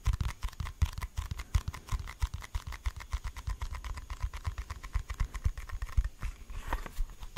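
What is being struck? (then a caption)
Hard plastic deodorant stick case. A red Old Spice deodorant stick in a hard plastic case is held in both hands and tapped and scratched with the fingertips and nails. A quick, uneven run of soft, dull taps with almost no ring comes through, mostly low and thumpy, with light scratchy texture between them.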